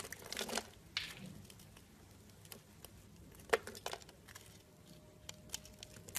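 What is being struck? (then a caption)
Scored bar of soap. A pink-handled utility blade, held in hand, scrapes and chips pieces off a solid blue and white striped soap bar scored into cubes. Quiet, dry crinkling scrapes are broken by sharp, bright snaps as chunks break away. A faint steady tone near 600 Hz sounds toward the end.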